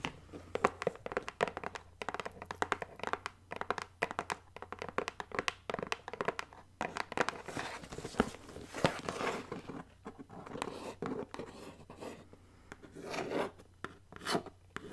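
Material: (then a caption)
Cardboard. Long acrylic nails tap and scratch the printed surface of a medium black cardboard BoxyCharm mailer box held up in the air. Quick, dry clicks come in rapid, uneven bursts, mixed with soft scratchy rustling over a faint low hum.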